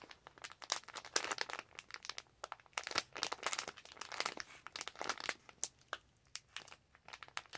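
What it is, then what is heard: Plastic zip pouch. A clear/white plastic zip pouch is crinkled and scratched by long acrylic nails. Dense, bright crinkling and sharp crackles come in quick irregular bursts with almost no low end, each crackle stopping dead with no ring.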